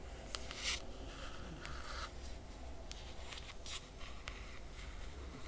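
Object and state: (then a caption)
Hardcover book cover scratched with nails. Long nails on both hands scratch the laminated cardboard cover of a closed hardcover book. Short, bright, dry scratching strokes come in bursts over a quiet, steady low hum.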